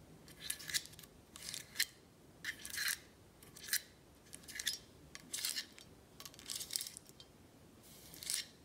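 Long nails tap on the black stopper and faceted glass of a full amber glass tequila bottle held in the hand. The sound is a series of quick, bright, clicky taps in short bursts, with almost no low end and no ring after each tap.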